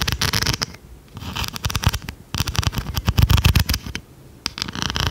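A large blue plastic pencil sharpener with a metal blade, held up in one hand, is tapped and scratched with long red nails. Quick, dry clicking taps and scratchy bursts come in uneven clusters separated by brief quiet gaps, mixing soft low knocks with a bright crackle.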